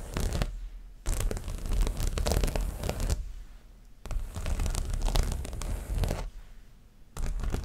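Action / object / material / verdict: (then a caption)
scrape / stretched canvas on a wooden frame / canvas / none. Long nails and fingertips scratch and tap the front of a stretched canvas print with a dreamcatcher design on a wooden frame, about 30 cm across and hollow behind. Dense bursts of rough, crackly scratching with a deep, drum-like low thump alternate with short quiet pauses, in three main bursts with the start of a fourth.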